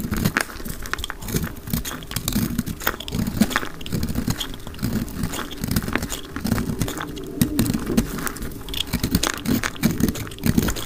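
A round, solid, pink dry soap bar held in the hand is scraped and cut with a utility knife blade, sped up to double speed. Dense, rapid dry scrapes and crumbly crunches run continuously, with energy centered in the low-mids and brief, bright crackly edges. Each cut stays dry and short, with almost no ring.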